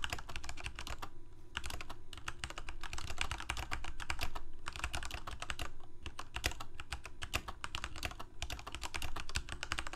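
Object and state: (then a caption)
Plastic mechanical keyboard being typed on. Fingertips of both hands type continuously on a full-size black plastic Corsair K68 gaming keyboard with backlit keycaps, Cherry MX Red switches and a hollow plastic case. The result is a steady stream of quick, dry key clacks over a deep low hum, with brief pauses between bursts of typing.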